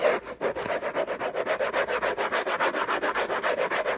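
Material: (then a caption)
Cardboard. Fingertips and short nails scratch hard across the textured paper-covered rigid cardboard lid of a large, flat, closed, hollow orange Hermès gift box. About 24 quick, raspy rubbing strokes come in a fast, uneven rhythm, with a papery midrange scrape and a bright, hissy edge. Each stroke dies away almost immediately.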